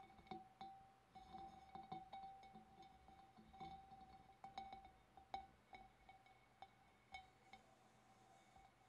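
Long black nails from both hands tap along the wavy rim and sides of a large, hollow, empty clear glass fish bowl. The bowl answers with quick, irregular clicking taps, each carrying a short glassy ring near 780 Hz with bright overtones that fade within a fraction of a second.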